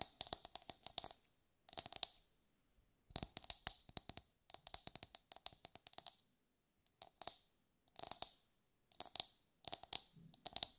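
A brown, husked whole coconut with a hard, fibrous shell is held in both hands and tapped with long, light-grey nails. Quick bursts of crisp, bright clicking taps come in rapid clusters separated by short pauses. Each tap is dry and very short, with almost no low end.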